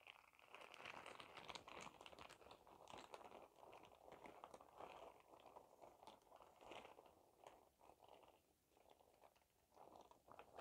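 A clear printed plastic shower cap with glitter is held close and scrunched and crinkled by hand. Dense, quiet crinkling and crackling runs through the full ten seconds in irregular bursts, with its body around 1 kHz and bright crisp edges on top.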